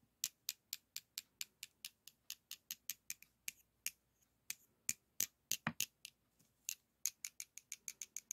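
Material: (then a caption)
Chalk. Two solid white school chalk sticks, held in the hands, are rubbed and scraped against each other in a cross shape. About 33 quick, dry, bright scratching strokes come in a steady rhythm, with a few faster bursts and brief pauses. Each stroke is very high and hissy with almost no low end, and it stops instantly.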